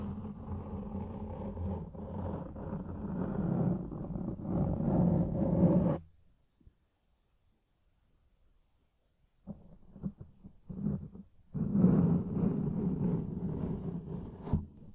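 One hand grips, squeezes and scratches a fist-sized black foam windscreen over a microphone with its fingertips, the soft porous foam giving a dense, close, low rumbling scratch. The scratching runs steadily for about six seconds and stops into near silence. Short bursts then lead back into continuous scratching.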